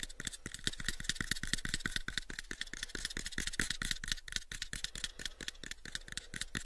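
A pale wooden cube box is held in the hands and tapped with the fingertips on its faces in a fast, uneven stream of short, dry knocks. Each tap pairs a soft low thump with a bright, clicky edge and dies away almost at once, with light rattling from the handling.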